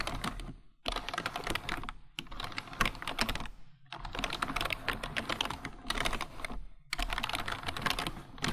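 Both hands type with their fingertips on a full-size black plastic computer keyboard. Dense bursts of rapid, bright plastic key clicks with soft low thumps underneath are broken by brief pauses.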